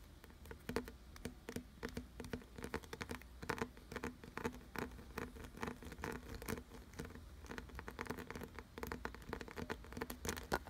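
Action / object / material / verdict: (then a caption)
scrape / carved wooden object / wood / none. Fingertips and nails tap and scratch quickly along the deep ridged grooves of a solid, glossy brown carved wooden piece. The result is a dense, fast patter of short, dry clicks and rasps with almost no ring, over a steady low hum.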